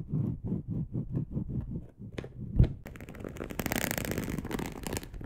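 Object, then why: Polyester mesh fabric sheet. Long acrylic nails work over a dark polyester mesh bed sheet lying loosely in soft folds, first in a quick, even series of soft, low, muffled taps. A couple of sharper taps follow, then a steady, bright, scratchy rasp as the nails drag across the mesh texture.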